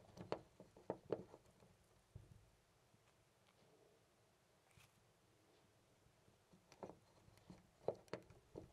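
A hand grips a loose brass-finish metal door knob on a white panel door and rattles and jiggles it. Short, quiet, clicky metallic clacks come in bursts during the first two seconds, fall to near silence through the middle, then return in another cluster of rattles toward the end.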